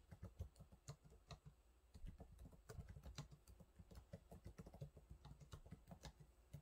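Fingertips of one hand type on the low-profile plastic keys of a silver laptop keyboard, making a steady run of quick, quiet taps. Each tap is a short, dull, low thud with a faint bright click on top, dying away almost at once.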